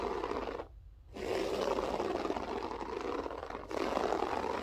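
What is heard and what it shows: Long nails scratch across the pile of a grey loop-pile berber carpet on the floor, making a steady, dry rasping texture centered in the midrange with a brighter hiss above. The scratching stops briefly near the start, resumes, softens slightly, then continues at full strength to the end.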